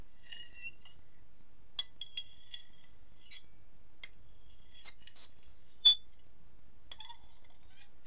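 A metal fork scratches and clinks across the face of an empty, medium-sized white ceramic dinner plate held tilted in one hand. Soft scrapes are heard with scattered bright, short clinks ringing near 3.5 kHz over a quiet background. A few sharper taps stand out before the clinks fade quickly.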